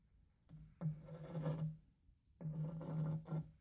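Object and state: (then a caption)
Wooden serving tray. A small white cloth or brush held in the fingers is rubbed back and forth across the flat surface of a large, shallow, empty rectangular wooden serving tray with a printed bird-pattern base. Two dry, scratchy rubbing passes are heard, each carrying a low, steady hum, separated by a brief pause.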